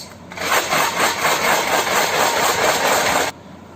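A tin jar holding kidney beans is shaken steadily for about three seconds, giving a dense, bright rattling clatter that ends abruptly, leaving quiet background hiss.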